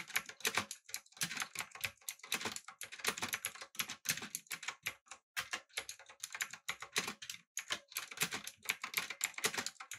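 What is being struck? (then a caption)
Mechanical keyboard, aluminium body with plastic keycaps. Fingertips type rapidly on a backlit, typewriter-style mechanical keyboard with blue switches, an aluminum body and round plastic keycaps. The result is a dense, steady run of bright, sharp clicks with very short decay and almost no low end.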